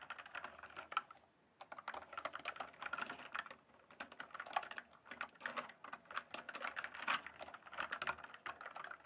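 Fingertips type and tap on a full-size RGB-backlit plastic mechanical computer keyboard, its hollow keys set on a solid base. A rapid run of short, dry clicky clacks centered in the midrange with a bright edge fills the clip, broken by a brief pause just after the first second. Each keystroke stops almost instantly with no ring.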